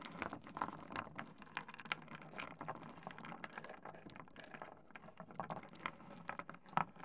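A layer of small, solid, rounded stone pebbles spread on a wooden desk is raked, shuffled and tapped with the fingertips of both hands, knocking the stones against each other and the wood. This makes a quiet, steady stream of dry, crisp clicks and rattles with very short, bright transients, and a few sharper knocks stand out near the end.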